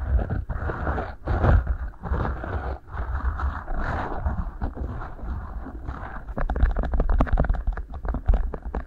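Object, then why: Beeswax-coated cotton food wrap. Fingertips squeeze and rub two matching rolled beeswax-coated cotton food wraps, shaped as hollow tubes and placed over the microphone capsules. The result is a heavy, muffled low rumble with waxy crinkling and rubbing bursts. Toward the end it becomes a quicker run of sharp, crackly taps.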